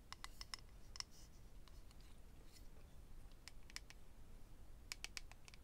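A small, hollow, rectangular clear acrylic eyelash case holding rows of lash strips is held in the hand and tapped and scratched with medium-length natural nails. Quiet, sharp, bright clicks and light scratches come in scattered bursts, each dying away almost at once, over a steady low rumble.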